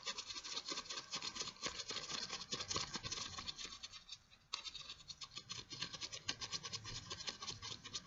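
White latex gloves worn on both hands are held close and rubbed together, the gloved fingers and palms squeaking against each other. A dense, bright, crackly stream of fast rubbing squeaks continues for the whole clip, with a brief dip near the middle before it starts up again.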